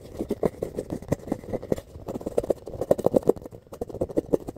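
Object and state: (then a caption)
Foam ball being scratched. Fingertips and nails scratch and rub a solid, palm-sized rainbow-colored foam ball with a lightly textured surface. It makes a fast, uneven run of dry, soft scratching strokes with a muffled midrange tone, each stroke dying away almost at once.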